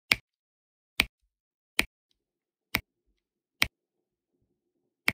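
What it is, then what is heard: Resin drills pressed onto diamond painting canvas. A hand with long nails uses a pink plastic drill pen to tap resin drills onto an adhesive Groot diamond painting canvas. Six separate, crisp, bright taps ring out in otherwise near silence, each very short with almost no ring. They are quiet and spaced at irregular intervals of roughly one second.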